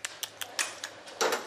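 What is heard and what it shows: An oyster farmer taps a closed oyster shell, giving seven short, bright clicks with little ring, the last few running closer together. The tapping sounds full, meaning the oyster is still alive inside.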